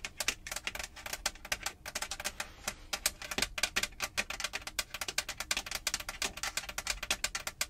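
Long pointed acrylic nails tap and scratch a large, hollow-backed, textured light grey molded plastic roof/headliner panel of a Jeep. Rapid, sharp, bright clicks sound in an irregular stream with almost no ring, and a short stretch of scratching comes in briefly partway through.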